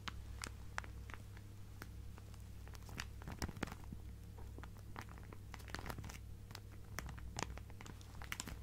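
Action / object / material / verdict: scrape / plastic zip bag filled with fabric / plastic / none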